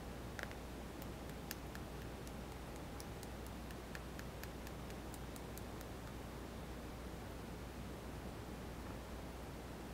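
A small white touchscreen mobile phone with a hollow plastic body and glass screen is held in one palm while fingertips and nails tap its screen and edge buttons. Faint, sharp, bright ticks come in a quick scattered series over the first six seconds, then stop. A steady low hum and hiss run underneath throughout.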